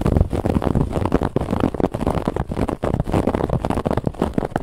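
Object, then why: Soft pillow with a woven fabric band. Fingernails on both hands scratch a raised brown-and-white woven lattice fabric band on a soft white pillow. A dense, continuous run of rough, muffled scratching strokes is heard, weighted toward the low end with little brightness on top.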